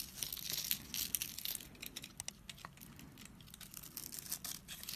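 A solid orange bar of soap, held in hand over patterned paper, is scraped and shaved with a metal blade, making crumbly shavings fall off. The sound is a dry, bright, crackly scraping with many quick, irregular crisp bursts and little low end.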